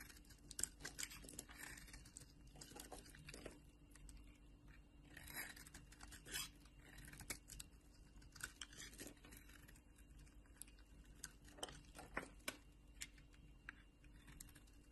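A solid orange bar of soap is carved and scraped with a metal utility knife blade, with shavings falling away. Quiet, crisp scraping and crunchy cutting strokes come in short, bright bursts, each dying away almost instantly over a faint, steady low hum.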